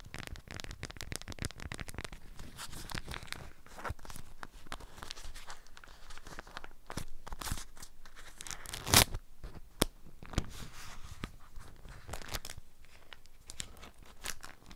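An orange-print beeswax wrap around a small object, held in both hands, is tapped and crinkled by long nails on the waxed cotton. The result is a steady, close run of dry crinkles, crackles and soft taps with bright edges, plus two sharper, louder clicks near the middle.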